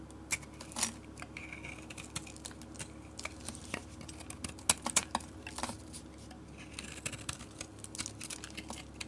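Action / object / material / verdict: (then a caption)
scrape / bar of soap cut with a utility blade / soap / none. A utility blade shaves curls off the surface of a solid peach bar soap with a dark coating, held in the hand. Quiet, crisp scraping and bright, short clicking cuts come in an irregular stream over a low steady hum, with a few sharper snaps standing out.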